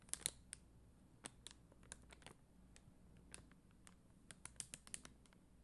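Long dark-green nails tap and scratch across a flat sheet of red and clear faceted plastic rhinestone stickers on a white backing. The result is a quiet, scattered series of sharp, bright plastic clicks and ticks that stop almost instantly, with faint scratchy rustles between them over a low, steady background hum.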